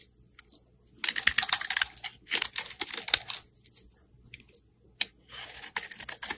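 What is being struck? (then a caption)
Translucent glycerin soap bar scraped by a metal blade. A metal blade scrapes shavings off the surface of a translucent orange glycerin soap bar held in hand. Bursts of dry, crisp, bright scraping come in quick clusters with short pauses between them, each scrape a brief papery crackle.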